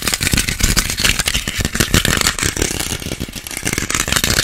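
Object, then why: Small whole orange, peel. A small, solid whole orange or clementine is held in both hands and scratched fast with fingernails across the peel. The sound is a dense, continuous, bright scratching with a rough, rattling texture and a low thumping undertone from handling. It never settles into clear separate hits.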